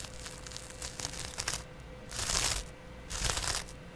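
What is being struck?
Cellulose sponge scratched with a thin blade.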